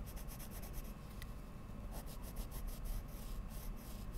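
A wooden coloured pencil tip is drawn across a large sheet of Strathmore mixed media paper laid on a drawing board, a solid flat surface, by a hand with long lilac nails while other pencils lie still on the table. Steady, soft rubbing and scratching strokes repeat throughout, mostly low and muffled with faint, bright, hissy scratch bursts on each stroke.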